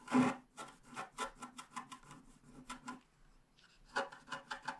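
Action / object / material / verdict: scrape / wax-coated scratch art paper sheet scratched with a wooden stylus / waxed paper / none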